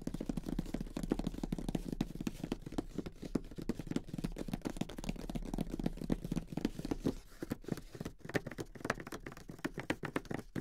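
Fingertips with short nails tap and scratch the lid of a flat, closed grey cardboard Monopoly game box holding its game pieces, near the printed logo, then the hands move toward the box edges. The result is a quiet, steady stream of rapid, dull, low-pitched taps with short, dry scratching and crinkly rustles that die away almost instantly.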